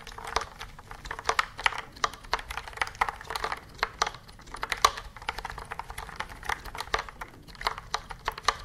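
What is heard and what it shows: A white and yellow plastic computer keyboard with round keys is held upright in both hands while its keys are pressed and tapped with long nails and fingertips in a typing rhythm. Dozens of short, dry plastic clicks and taps come in quick irregular bursts, bright and crisp with a midrange tone around 1.2 kHz and almost no low end. Each click dies out almost instantly.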